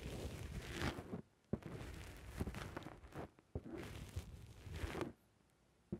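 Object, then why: Foam microphone windscreen. A fingertip presses and squishes a black rounded foam windscreen on a microphone from the top and sides. Muffled, crackly rustling with a heavy low rumble swells in long stretches, broken by brief near-silent gaps and sharp soft thumps as the foam is pushed and released.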